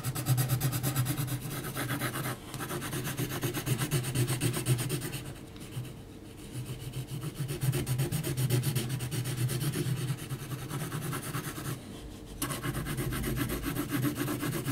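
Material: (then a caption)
Paper. A graphite pencil tip scratches hatching lines along the left and bottom of a drawing on a heavy, flat sheet of mixed-media paper. It makes a steady, bright, rubbing scratch in quick strokes of about two per second, over a low steady hum. The scratching drops away briefly around the 5 to 6 second mark and again near 12 seconds.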